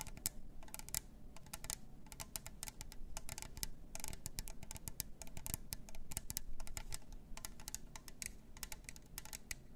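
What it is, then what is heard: Plastic tumbler cup tapped with nails. Long nails tap rapidly on the lid rim and sides of a plastic glitter tumbler with a clear lid and straw. The result is a steady stream of quick, dry, clicky taps with bright, sharp edges that stop almost instantly, over a faint low rumble.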